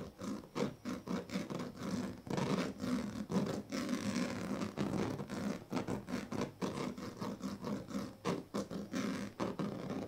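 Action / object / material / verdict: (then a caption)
scrape / woven plastic strip mat scratched with a plastic comb tail / plastic / none. The tail of a pink plastic comb scratches along the strips of a large, flat woven plastic sleeping mat. It makes a steady series of short, rasping strokes with a buzzy, low-pitched tone around 195 Hz. Brief pauses fall between the scrapes.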